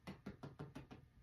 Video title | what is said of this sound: Irish Soda Bread | listen for to know that it's done is if it sounds Hollow which it does